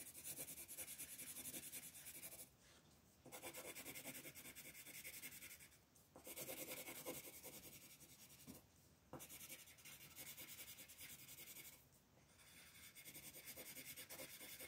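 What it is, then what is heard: Colored pencil shading on paper. A yellow colored pencil is rubbed in rapid shading strokes over a flat sheet of white paper printed with a floral coloring page, while the other hand, with long nails, rests on the sheet. The result is a steady, bright, dry scratching hiss, broken by four short, quieter pauses between bursts of strokes.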